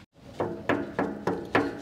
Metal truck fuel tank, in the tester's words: yeah that sounds like it's got gas in it too